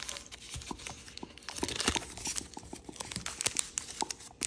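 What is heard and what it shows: Fingertips crease thin kaleidoscope-pattern origami paper, rubbing and pinching the folds as it is shaped into a finished paper crane. Dense, bright crinkling and dry crackles come in quick, uneven bursts, with soft rustling underneath and almost no low end. Each crackle stops short, with no ring.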